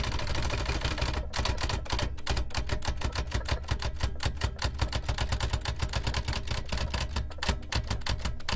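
A large black antique metal L.C. Smith & Corona typewriter with round keys, a hollow mechanical body and paper loaded is typed on continuously with fingertips. Its keys give a rapid, steady run of crisp clacks over a low, hollow mechanical rumble.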